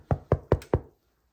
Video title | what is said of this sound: [VIRTUAL] Lunch and Learn: How to Make Bread | if you tilt your bread up and give it a knock on the bottom, it should sound hollow